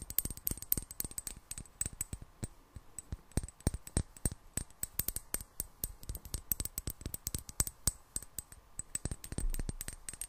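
A small clear glass bottle with a gold metal cap, partly filled with liquid, is held in one hand and tapped with long black nails. Quick, sharp clicks and taps with a bright edge come in rapid irregular bursts over a faint steady hum, with a softer low swell near the end.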